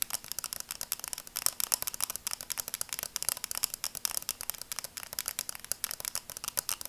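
Long nails tap rapidly across the lenses and frame of red and black plastic sunglasses. The result is a quick, steady stream of dozens of light, dry clicks. They are bright and crisp, with almost no low end and no ringing after each tap.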